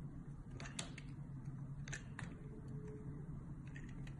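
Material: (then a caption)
Soap. A metal box-cutter blade shaves and scores the surface of a solid white and purple soap bar held in the hand, peeling off curled strips. Soft, crisp scraping clicks and brief bright ticks sound over a steady low hum throughout.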